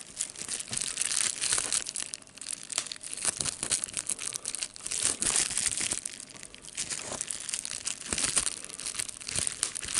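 A clear plastic bubble wrap sheet with air bubbles is pinched between the fingers, popping the bubbles as the sheet crinkles. Sharp, dry pops are scattered through a dense, bright crackle that rises and falls in waves, with almost no low end.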